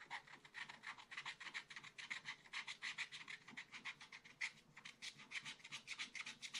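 A wooden stylus scratches short strokes across a black coated scratch art paper page in a small spiral pad on a table, with fingers steadying the pad. The result is a quiet, bright, dry rasping that comes in a rapid, uneven run of scrapes, about three or four per second. It is centered near 2 kHz and has almost no low end.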